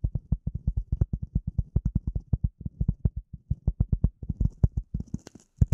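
A rectangular gray polyethylene foam sheet, held close to the camera and over the microphone, is scratched and tapped with the long nails of both hands. About forty quick, dull, deep thumps follow one another with almost no ring. A few faint, bright scratchy ticks come in near the end.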